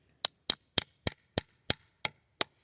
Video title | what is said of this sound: Time To Tap! | tap it in until you hear the sound change